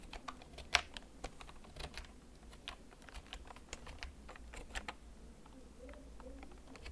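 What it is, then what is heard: Plastic mechanical keyboard. Fingertips press the keys of a full-size black plastic backlit mechanical gaming keyboard with a hollow case, held and tilted. Slow, scattered clicky keystrokes sound bright and sharp, with one louder clack near the start over a low steady hum.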